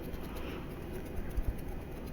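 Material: Nothing is struck.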